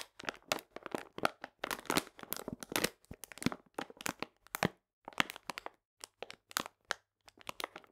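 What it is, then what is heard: Full paper sugar bag crinkled. A full paper cane sugar bag, held upright, is pressed and crinkled with fingertips and nails. Quick, dry, bright crackles and crunches come in clustered bursts separated by brief silences, with almost no low end and no ring after each crackle.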